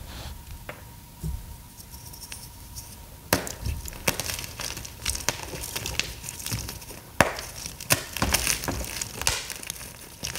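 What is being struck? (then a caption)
Pressed gym chalk block. Bare fingers and palms squeeze and crush palm-sized, solid, brittle blocks of green pasted gym chalk (magnesium carbonate) into powdery crumbles over a tray of chalk blocks. Sharp, bright snaps and dry crackling crunches break out irregularly over soft gritty crumbling, with a faint steady tone underneath.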